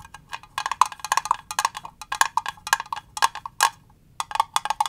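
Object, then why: Small rigid plastic box. A small, clear, rigid plastic cube box with green contents inside is held in the hands and tapped with fingernails on its flat faces and edges. Quick, dry, bright clicks with a hollow tone around 1 kHz come in irregular bursts, each dying away almost instantly. The tapping pauses briefly near the end, then resumes.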